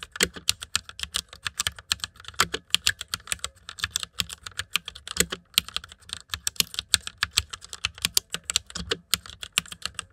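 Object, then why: Plastic mechanical computer keyboard. Fast typing with fingertips on the keycaps of a white plastic mechanical computer keyboard. It makes a dense, steady stream of sharp, bright clicks with almost no ring, and a few heavier thocks stand out among them.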